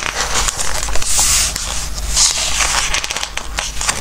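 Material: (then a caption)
Coated paper. Fingertips stroke and rub the glossy coated pages of a softcover Christmas book and turn the pages. Soft, crackly paper rustling and crinkling come with bright, hissy swells as the pages slide and flip, over a steady low hum.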